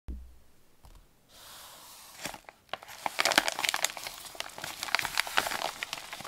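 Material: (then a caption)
Paper. A medium-sized white paper padded mailer with bubble padding, a Royal Mail label and recycling print, flat and closed with contents inside, is handled and rubbed with fingertips and palms. After a quiet opening with a soft hiss, dense bright crinkling and crumpling builds up, scattered with sharp papery crackles.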